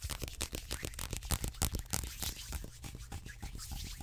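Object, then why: Paperback book with card cover. Fingertips scratch and tap the glossy card cover of a large, thick, solid paperback biology textbook held in both hands, and riffle its paper pages. The result is a rapid, irregular stream of soft taps and crinkly, tearing-like paper rustles.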